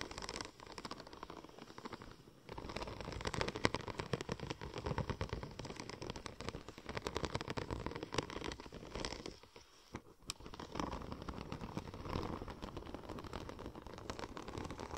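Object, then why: Textured vinyl film. Long nails scratch the raised pattern of a curved, silver checker-plate-pattern vinyl wrap sheet. The result is a dense, continuous run of fast scratchy clicks and rasps with broad low-to-mid body, briefly quieting near the 10-second mark before resuming.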